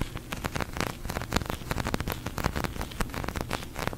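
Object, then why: Polyurethane foam squishy toy. Long nails rapidly tap and scratch a large, pink, sticky polyurethane foam squishy toy. Dense, quick clicks and scratches blend into a continuous sticky crackle, like rain pattering, with a low body and short, dry hits.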